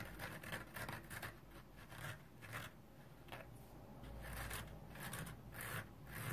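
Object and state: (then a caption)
Synthetic scouring pad scratched dry. Long nails scratch and rub across the green nylon scouring layer of a dry yellow foam sponge held in the hand. Repeated dry, raspy strokes rise and fall in bright, broadband bursts over a steady low rumble, staying quiet throughout.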